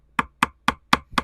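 Five taps of a screwdriver handle on a soft, water-soaked spot in the balsa-cored fiberglass deck of a 1969 Iroquois Mk2 catamaran give short, dull knocks with a woody tone around 1.2 kHz and almost no ring. The soaked core has gone soft and the deck gives a little underfoot here, unlike the other side.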